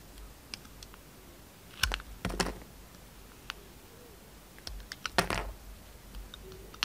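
A utility knife blade cuts the red outer layer off a solid pink bar of soap held in the hand. Short, crisp scraping and cutting clicks come in two clusters over a quiet background, each with bright edges and little ring.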